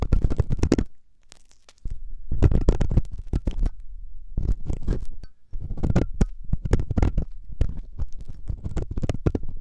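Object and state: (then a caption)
Silicone ear of a binaural microphone, scraped. A metal loop ear pick, held by fingertips, scratches inside the ear canal of a soft, solid silicone ear on a 3Dio binaural microphone. Bursts of dense, rumbling scrapes and crackles sit mostly in the low range, with a brief quiet pause near the start and a short dip in the middle.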